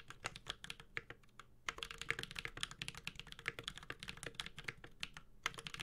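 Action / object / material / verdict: tap / mechanical keyboard, aluminium case, plastic keycaps / aluminium, plastic / none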